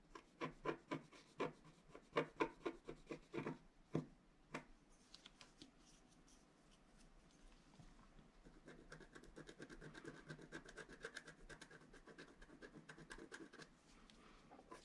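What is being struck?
Black-coated paper scratch art card and wooden stylus.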